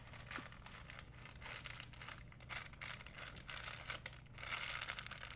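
An empty, folded white plastic shopping bag is squeezed and crinkled in both hands. It makes a dense, continuous stream of bright crackling and rustling that swells and eases in waves, over a faint steady low hum.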